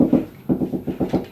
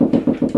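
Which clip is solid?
The first.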